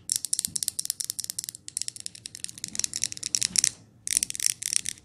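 Long nails tap quickly on the glass and lid of a glass jar candle as it is lifted and handled close up. The taps are dry, bright and clicky, with almost no low end and no ring, coming in rapid flurries separated by two brief pauses.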